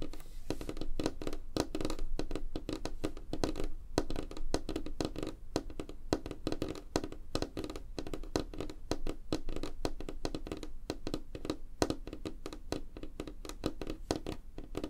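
Fingertips and nails of both hands tap fast and lightly scratch a flat, solid, light-colored wooden tabletop. The result is a dense, steady stream of short, dry, low thumps and clicks with almost no ring, and a faint scratchy rustle underneath.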